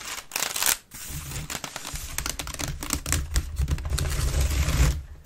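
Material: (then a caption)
Wicker. Long nails scratch fast across the base and lower sides of an upturned, hollow, empty grey wicker waste bin. The result is a dense, rapid rasping texture with bright scratchy detail over a hollow low rumble, broken by a brief lull near the start.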